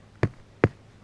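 Two dull, low thuds as a second spot on the ground of a cave trail near a crack is struck, each dying away almost at once. The ground sounds hollow.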